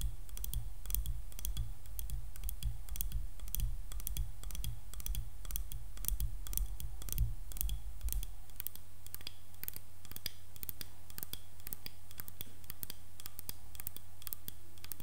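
Painted fingernails tap and scratch the solid handle and back of a light wooden hairbrush, held up and tilted, making quick, dry clicks with steady scratching. A low hum runs underneath and eases off slightly after about eight seconds.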